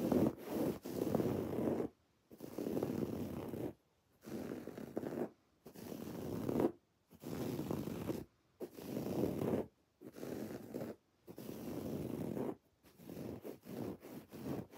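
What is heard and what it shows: Long dark-painted nails scratch a soft, stuffed teal woven fabric throw pillow, resting on a lap, that has raised white cord embroidery spelling "love you more." The result is a dry, rasping scratch in bursts of one to two seconds, separated by brief silent pauses. It sits mostly in the low-mid range, at a soft, steady level.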